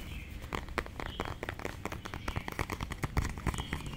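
Long painted nails tap and scratch a small, hollow purple plastic lipstick or lip gloss tube held in both hands. The result is a rapid, uneven stream of short, dry clicks and crinkly scratches that die away almost instantly, over a steady low rumble.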